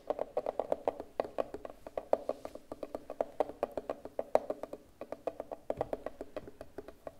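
A rounded, hollow turquoise hard plastic case is held in both hands and tapped with fingertips and long nails. A rapid, uneven stream of short, crisp clicks sounds out with a hollow, mid-pitched tone around 620 Hz. Each tap dies away almost instantly.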